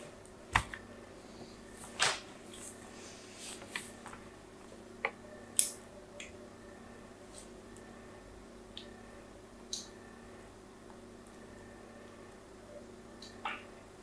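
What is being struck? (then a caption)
Bar of soap. A small blade scratches lines along the edge and face of a solid pink bar of soap held in hand. Eleven short, bright scraping scratches come at irregular intervals over a faint steady hum, each dying away almost at once.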